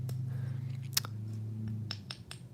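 A rock from a mail-order box is tapped several times with a metal tool, giving short, dry, glassy and sandy clicks over a steady low hum. Judged by its tapping sound, the rock is identified as shale.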